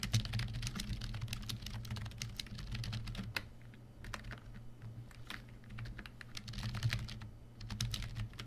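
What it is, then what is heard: Plastic membrane keyboard. Fingertips of both hands type continuously on a full-size black plastic membrane keyboard, the COSY KB1388, resting on a white desk. The keystrokes come as a rapid stream of soft, muffled clacks with brief bright edges and short decay. A steady low hum runs underneath throughout.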